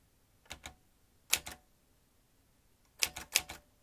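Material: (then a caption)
Metal. Fingertips tap the round keys of a vintage metal manual typewriter with exposed metal typebars and carriage. Eight short, bright metallic clacks land in irregular pairs and clusters with quiet gaps between, each dying away almost at once.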